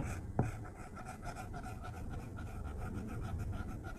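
A plastic stylus tip drags across a flat glass iPad tablet screen in coloring strokes, making a soft, steady scratching rub. The strokes repeat in a quiet, even rhythm with one sharper tap near the start.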